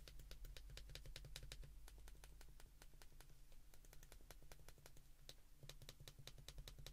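An open white plastic flip phone is held in both hands while thumbs press its keypad buttons quickly. A steady stream of short, bright plastic clicks runs throughout over a constant low hum.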